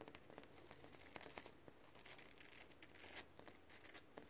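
Fingertips and short nails tap and scratch quickly on solid, textured concrete ground. Quiet, rapid crisp clicks and gritty, bright scraping rasps run throughout over a faint low hum. Each tap dies away almost instantly.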